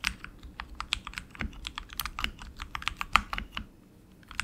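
Both hands type continuously with their fingertips on a tenkeyless RGB mechanical keyboard with tactile switches and plastic keycaps on an aluminum frame. About twenty short, bright keystroke clacks fall in a quick, uneven rhythm, each dying away almost instantly over a soft low thud. A brief lull comes near the end before a few final keys.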